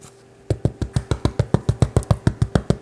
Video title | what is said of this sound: 4-Ingredient Irish Soda Quick Bread: An Authentic, Versatile Irish Recipe | you can use your fingertips if it sounds hollow